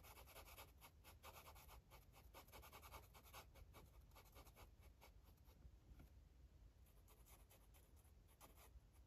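A purple felt-tip marker makes short, quick scratching and rubbing strokes on the page of an open paper coloring book lying flat on a table. The strokes come as a steady stream of dry, bright scratchy bursts over a low, constant background rumble.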